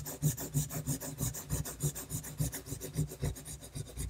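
A technical pen nib rapidly scratches dense hatching lines across a flat sheet of drawing paper. It makes a steady series of short, rasping strokes, roughly three per second, with a low scratchy body and a bright, airy hiss on top.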